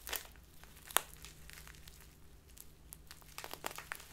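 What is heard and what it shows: A small crinkly plastic bag full of loose tea is crumpled and squeezed in both hands with long nails. The result is quiet, bright, dry crinkling and crackling, with one sharper snap near the one-second mark and denser rustles toward the end over a faint low hum.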